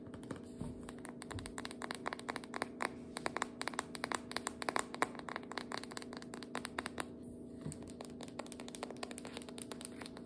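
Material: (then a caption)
Cardboard. Long fingernails rapidly tap a jumbo biscuit dough can, a cardboard tube with metal ends that appears full, first on the label side and then on the metal end cap as the can stands upright and is then held. The result is a dense stream of quick, dry, clicky taps that stop almost instantly, over a faint steady hum.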